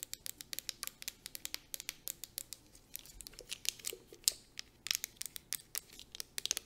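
Long nails tap quickly along the body of a clear plastic 250 ml fragrance mist bottle with a gold cap, filled with liquid. About 35 sharp, bright clicks come in a fast, uneven patter, each dying away almost instantly with almost no low end. A faint hiss sits beneath the taps.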